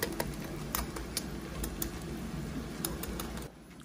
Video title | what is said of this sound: AIR FRYER WHOLE ROAST CHICKEN RECIPE! Crispy Skin & Juicy! How to Cook Chicken in the Air Fryer! | how crispy this skin is